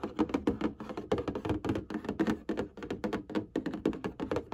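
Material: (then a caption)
Cardboard. Fingernails rapidly tap and scratch on the front panel of a printed cardboard box filled with hanging folders. The taps come in a quick, uneven run of dull, hollow thuds with a low-mid body. Each tap dies away almost instantly, with faint scratchy texture between them.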